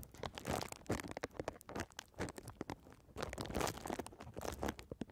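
A clear plastic bubble wrap sheet, first held upright and then folded into a strip over the microphone, is scratched by long red nails that pop its bubbles. Dense crinkling and scratching run through the clip, broken by many short, sharp pops and crunches with bright edges. Each pop dies away almost instantly.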